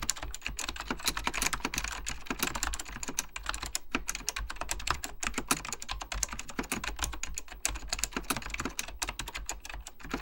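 Fingertips with short dark-painted nails type continuously and rapidly on a full-size Apple Extended Keyboard II, with beige ABS plastic keycaps on a hollow plastic case with mechanical switches. A dense, steady stream of short, bright clacking keystrokes runs throughout, each dying away almost at once, over a constant low hum.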